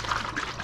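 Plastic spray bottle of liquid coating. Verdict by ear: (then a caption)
Gelled. A plastic spray bottle of graphene spray coating detailer is shaken, its contents turned to a gel. The result is a thick, sloshing, squelchy rattle instead of a normal liquid slosh. The sound is abnormal because the product has gelled and can no longer be used.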